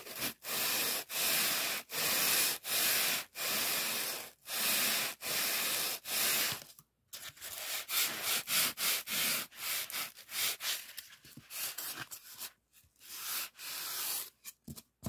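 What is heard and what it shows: A fingertip rubs along the surface of a thick, soft white polyethylene packing foam sheet, held in close-up. It makes a run of short, bright, hissy scraping strokes at an uneven pace, with brief near-silent gaps between them and almost no low end.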